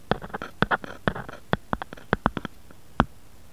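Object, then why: Plastic phone case. A grey-beige plastic or silicone phone case with a bear print lies flat on a wooden board, hollow over the phone, and is tapped and scratched with fingernails and fingertips. Quick, dry clicks and soft scratchy taps come in an uneven, playful rhythm, each dying away almost at once. A few taps land harder than the rest.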